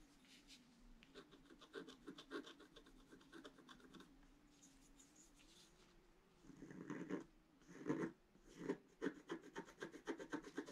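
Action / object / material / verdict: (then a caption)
scrape / wax-coated scratch-art paper scratched with a wooden stick / waxed paper / none. A pointed wooden stick scratches across a flat scratch-art page, a black wax coating over colored paper, in a book lying on a table while the other hand holds the page. Soft, dry rasping strokes repeat quietly at first, then become louder and more vigorous in short bursts toward the end.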